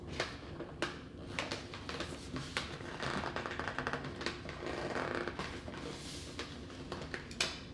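A clear, thin plastic clamshell bakery container full of bread rolls is held in the hand and tapped with long nails. Quick, sharp, hollow-sounding clicks come in uneven bursts over a soft crinkling rustle of the plastic.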